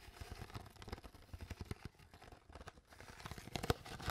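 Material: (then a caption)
Plastic. An empty, crumpled, hollow clear PET water bottle with its cap on is crinkled and squeezed by hands with long nails. The result is a quiet, irregular run of short plastic crackles and crunches with dull low thumps and a bright crinkly edge, building to a sharper pop near the end.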